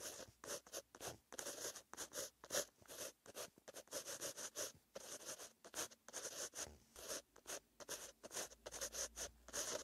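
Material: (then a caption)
Paper. A metal-tipped green pen held in the fingers writes handwritten text on a lined white paper page of a flat notebook. The pen makes quiet, bright, scratchy strokes in quick bursts separated by brief pauses, with almost no low end.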